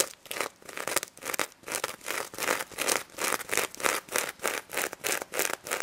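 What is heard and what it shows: Long nails scratch and flip the plastic sequins on the face and mesh snout of a pink sequin plush pig toy. The result is a rhythmic series of bright, crinkly scratching strokes with sharp ticks as the sequins flip over.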